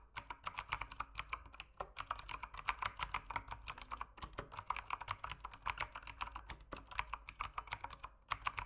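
Fingertips type continuously on a backlit mechanical keyboard with plastic keycaps, making a rapid, steady stream of short, crisp clacks. Each keystroke is sharp and bright, with its body centered around 1 kHz and almost no ring. The clicks sit over a faint low hum.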